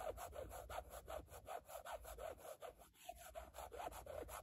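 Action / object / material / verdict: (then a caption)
scrape / carbon fiber plate / carbon fiber / none. Long fingernails scratch a rigid black carbon-fiber textured plate in short, quick strokes. The result is a steady run of rasping, saw-like scrapes that repeat about every third of a second, with a mid-range tone near 730 Hz. There is a brief pause around the three-second mark.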